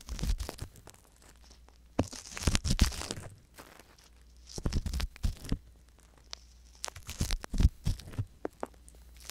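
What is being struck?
Silicone ear with a wooden and metal ear pick.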